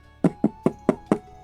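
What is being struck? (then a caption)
Cardboard product box. Fingers tap on the textured side of a cardboard Pokémon card product box. Five short, dull knocks sound in an even rhythm, each with a low-mid body and almost no ring before quiet returns.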